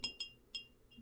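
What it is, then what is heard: Glass liquor bottle. A glass bottle of Irish bourbon cream from Buffalo Trace distillery is tapped three times, giving short, bright glassy clinks with high ringing overtones. A faint fourth tick follows near the end.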